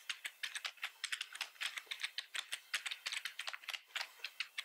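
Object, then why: Plastic computer keyboard. Fingertips of both hands type continuously on a black plastic computer keyboard with red keys. About 29 quick, bright plastic clicks rattle out in a steady stream, each dying away almost at once with no low-end thump.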